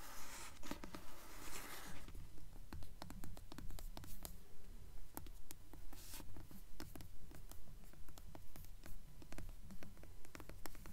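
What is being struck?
Hardcover book with glossy paper jacket.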